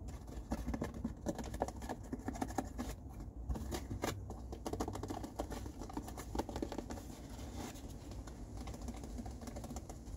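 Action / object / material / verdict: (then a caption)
tap / cardboard tissue box / cardboard / none. An empty, hollow blue cardboard tissue box is turned in the hands while fingertips and nails tap and scratch its printed sides and ends. Quick, dry taps and papery scratches patter continuously over a soft, low hollow body. Each tap dies almost instantly.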